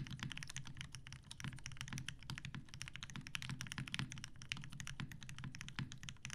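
Both hands type steadily on a TGR Jane V2 mechanical keyboard with 63.5g Tealios switches, cream and grey PBT plastic keycaps, and a dark grey metal case resting on a desk mat. A rapid, dense run of keystrokes gives deep, low thocks under bright, crisp clacks. Each hit dies away almost at once.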